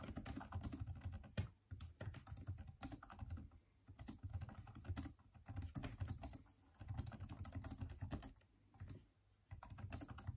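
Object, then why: Plastic laptop keyboard. Both hands type quickly with their fingertips on the backlit plastic keys of a Microsoft Surface tablet keyboard. The result is a steady stream of soft, low, muffled clicks in bursts, separated by a few short pauses.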